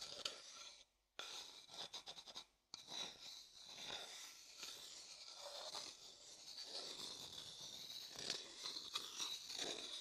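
A thin wooden stick scratches and rubs the inside of an empty, pale, hollow, light wooden bowl. The result is a dry, bright, raspy scraping with two brief silences in the first three seconds, then steady, continuous rubbing until the end.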